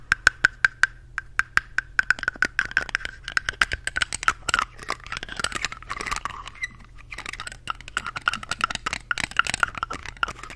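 Fingertips with long painted nails twist, pull off and push back on the plastic cap of a small yellow Glamglow plastic cosmetic tube with a metal collar. The result is a rapid series of sharp, dry plastic clicks and light scrapes with a tonal edge around 1.5 kHz and bright, crisp transients. Spaced clicks at the start grow into a dense, busier clatter.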